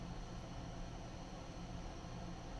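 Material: Nothing is struck.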